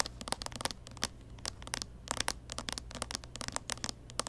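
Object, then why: Plastic handheld game console. Long painted fingernails tap and scratch the lid and edge of a small, closed, hollow pink-and-white plastic Nintendo 3DS XL covered in stickers, held upright in both hands. Many quick, dry clicks and short scratches with bright, high edges rise in irregular bursts over a faint low hum.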